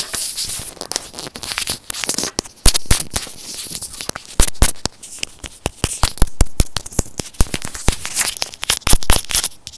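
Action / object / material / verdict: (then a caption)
tap / small hollow plastic earphone microphone housing / plastic / none. A small, hollow white plastic earphone inline microphone housing is rubbed and tapped close-up with fingertips and short nails. Rapid, irregular sharp taps and clicks mix with scratchy, crinkling rubbing and a constant bright hiss. Each tap lands as a dull, boomy thump against the mic and dies away quickly.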